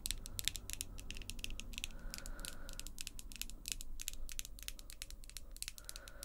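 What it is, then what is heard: Long acrylic nails tapping. Long, glossy pink acrylic nails tap and click rapidly against each other between the two hands. The result is a dense, steady stream of short, sharp, bright clicks centered around 3.5 kHz over a quiet low background rumble.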